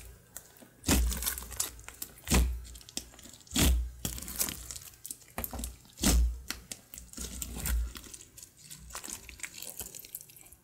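Fingers and knuckles press into a glossy grey glue slime on a wood-grain table, then fold and pull it. The result is wet, crackling squishes: deep, soft thuds at each press, with bright crinkly pops and snaps in between.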